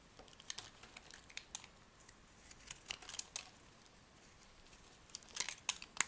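A metal knife blade scrapes and slices a solid orange-brown oval soap bar held in the palm into thin shavings. It makes soft, crisp, bright scratching and clicking bursts in irregular clusters, mostly high-pitched with almost no low end. The bursts grow denser and sharper toward the end.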